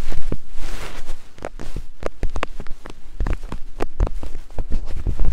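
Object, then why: Silicone microphone ears tapped with wooden picks. Thin wooden picks held in both hands tap and scratch the soft silicone ears of a binaural microphone in climbing motions. The result is a close, irregular run of dull, low thumps mixed with soft scratchy rustling, each tap dying away quickly.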